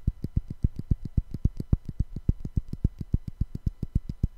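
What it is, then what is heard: Pair of wooden blocks. Two small, solid light-wood cubes are held in both hands near the microphone and knocked and tapped together in rapid, light strikes. About 32 short, dry, low knocks come at a quick, fairly steady pace, each a dull thump with almost no ring.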